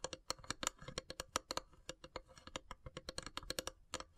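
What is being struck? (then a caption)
Carved wooden incense box. Long silver nails tap and scratch the lid of a long, hollow, carved wooden incense box. The result is a quick, uneven stream of short, dry, bright clicks that die away almost instantly, with a faint hollow ring near 500 Hz and soft scratchy rustling between the taps. The sound stays fairly quiet throughout.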